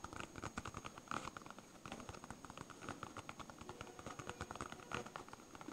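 A palm-sized, solid yellow smiley-face polyurethane foam stress ball is scratched and tapped with fingertips and nails. It makes a quiet, rapid patter of soft, dull taps and scratchy rustles that stop quickly, over a faint steady high tone.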